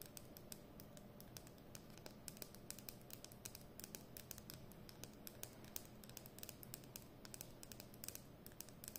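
Long nails tap and scratch along the hollow plastic barrel of a capped Edding 300 permanent marker held horizontally. Quick, dry, bright clicks come in a rapid, uneven stream over a soft scratchy rustle and a steady low hum. Each tap dies away almost at once, and the overall level stays quiet.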